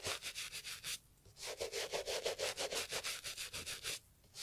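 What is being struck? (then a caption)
Leather loafer scrubbed with a bristle brush. A gloved hand scrubs the dry, worn leather of a brown Italian leather loafer with a bristle brush. It makes quick, rhythmic bristly rubbing and scratching strokes with a bright, hissing texture. The strokes are briefly interrupted by two short pauses.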